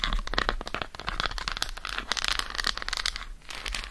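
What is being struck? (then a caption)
Dark chocolate bar tapped with fingernails. Long acrylic nails tap quickly across the squares of an unwrapped solid dark chocolate bar held in the hand. The result is a dense run of sharp, dry clicks with a bright, crinkly edge, each dying away almost at once, at a steady moderate level for the whole four seconds.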